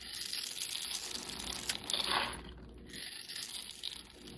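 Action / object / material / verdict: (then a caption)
scrape / soap bar cut with a metal blade / soap / none. A metal utility knife blade scrapes and cuts the pre-scored surface of a solid, hand-sized, light-blue bar of soap held in the hand, breaking it into small soap cubes and shavings. The sound is a steady, quiet, bright crackling and crunchy scraping, mostly high in pitch with little low end. A louder, denser scrape swells near the middle before easing back.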